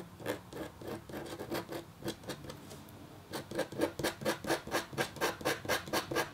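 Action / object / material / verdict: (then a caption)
scrape / black-coated copper foil scratch art sheet scratched with a metal stylus / copper foil / none. A red-handled metal-tipped stylus makes fine scratching strokes across a flat, black-coated copper foil scratch art sheet. Short, dry, bright rasps come softly and unevenly at first, then pause briefly, then return louder in a steady back-and-forth rhythm of about two strokes per second.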